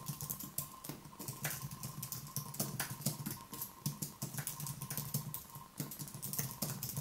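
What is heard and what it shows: A thin Apple wireless keyboard with white plastic keys on a low aluminium base, resting on a wooden desk, is typed on rapidly with the fingertips of one hand. Quick, light, crisp key taps follow one another in an uneven stream, each with a soft low thud and a bright click that dies away almost instantly. A faint steady tone hums underneath throughout.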